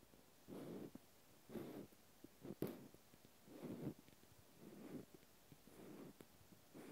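A cotton swab scratches the flat end of a small, solid natural cork stopper. Soft, muffled scratching strokes come in short bursts about once a second, each a low, dull rasp with almost no bright content, separated by quiet pauses.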